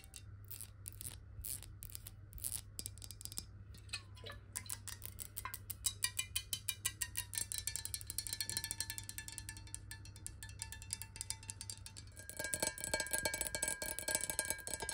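A clear, hollow, square glass water bottle holding a little water is held sideways and then close up while long nails tap it rapidly. The taps are bright, high glassy clicks with very short ringing and a faint tonal shimmer, over a steady low hum. Near the end the tapping grows louder and denser.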